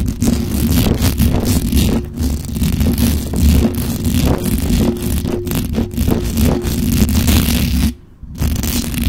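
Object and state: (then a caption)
Metal microphone grille scratched. Long acrylic nails scratch fast and hard across the sides and top of the hollow metal mesh grille on a black condenser microphone. The result is a dense, continuous rasp of scrapes and rustles over heavy low rumble, with faint steady tones in the low-mid range. The sound drops out briefly near the end before resuming.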